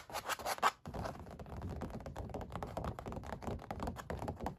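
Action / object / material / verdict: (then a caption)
scrape / painted stretched canvas / canvas, paint / none. Both hands, one wearing a metal ring, rub and scratch short nails across a stretched oil-painted canvas with ridged paint. Quick, dry scratching with soft low thumps starts in louder bursts, cuts out briefly, then continues as a dense, steady scrape to the end.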